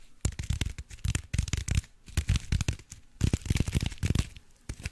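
Fingers crinkle and scratch the aluminium foil on a small foil-wrapped block held up in both hands. The result is a run of dense, crackly bursts with a heavy low thump and bright crinkly edges, each dying away almost instantly, with brief quiet gaps between handling bursts.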